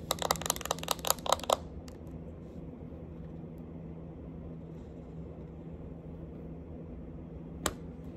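Long acrylic nails tap and scratch the lid, rim and bottom of a small round Clinique powder compact, which has a clear plastic lid and base and holds pressed powder. A quick burst of sharp, bright clicks fills the first second and a half, followed by quiet scratching over a steady low hum. One more crisp tap comes near the end.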